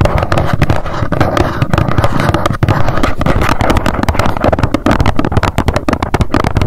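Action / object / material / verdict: tap / small cardboard box / cardboard / none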